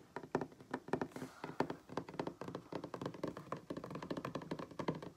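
Fingertips and nails of both hands tap quickly on a solid wooden tabletop. The result is a fast run of short, dry knocks with a woody tone around 250 Hz, each dying away almost at once.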